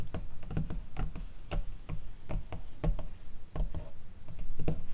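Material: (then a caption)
Paper. Long teal acrylic nails tap and scratch across the surface of an open glossy paper catalog magazine. Quick, dry clicking taps come in an irregular run, each a short sharp tick with a dull low body, mixed with soft scratchy rustle between them.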